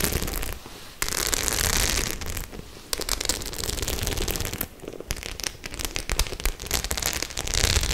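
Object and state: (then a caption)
Studded faux leather clutch bag. Long nails tap and scratch the silver and black metal studs on a white faux leather clutch bag. Dense, crackly clicks and bright scratchy bursts come in uneven runs, with brief quieter gaps and a steady low rumble underneath.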